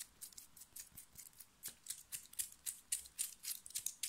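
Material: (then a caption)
Cotton fabric. Long nails scratch fast and hard across the chest and shoulders of a plain black cotton knit t-shirt being worn. About twenty quick, bright, hissy strokes come in an uneven rhythm, each one short and dry, with almost no low end.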